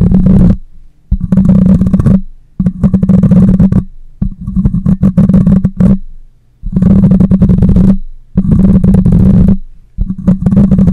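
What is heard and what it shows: Long nails scratch the metal mesh grille of a black microphone in seven loud bursts separated by short quiet gaps. Each burst is a dense, gritty rasp with a heavy, booming low rumble centred around 184 Hz and little brightness. The scratches fade slowly into each pause.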